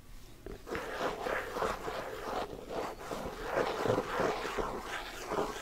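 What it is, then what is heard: Plastic cosmetic tub. A closed, round, hand-sized plastic body-butter tub with a printed lid and pink sides is tapped rapidly with fingertips and nails. The result is a quiet, continuous stream of soft, hollow taps mixed with light scratchy clicks, carrying a mid-range tone around 500 Hz, in an irregular rhythm.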